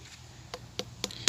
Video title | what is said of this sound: มาฟังเสียงดีดแตงโมกันจ้า🍉 | ลูกนี้แน่นมาก